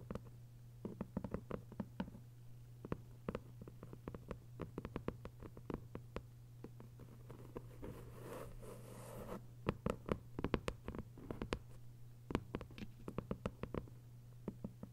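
Long white nails tap and scratch on the paper dust jacket of a thick hardcover novel lying flat. Quick, dry, quiet taps come in uneven bursts over a steady low hum, with a soft, brighter scratching rustle in the middle before the tapping resumes.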